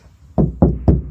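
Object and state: Van panel damped by sound deadening mat.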